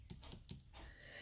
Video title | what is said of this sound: #107 Introducing the Stampin Up World of Good Product Suite - Making Two Gorgeous Masculine Cards | brass foil paper that I embossed with the old-world embossing folder that even sounds like metal when I tap on it